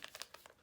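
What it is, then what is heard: Paper pouch of gelatin powder. An unopened paper pouch of Knox unflavored gelatin powder, taken from its box, is shaken, giving five quick, crisp, high-pitched papery crinkles and rustles.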